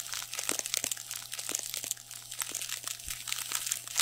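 Fingertips scratch and squeeze the surface of a soft, stuffed, black padded shiny nylon fabric pad held in both hands over the microphone. The result is a dense run of bright, crinkly scratches and short crunching bursts with almost no low end, over a faint steady low hum.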